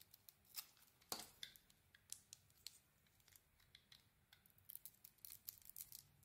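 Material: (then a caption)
Soap. A small metal blade shaves and scrapes curls off a hand-sized, solid grey soap bar with a cream-white core, held in one hand. Quiet, crisp, bright scraping strokes come in short bursts with almost no low end, the loudest near the one-second mark, and a quicker run of cuts follows toward the end.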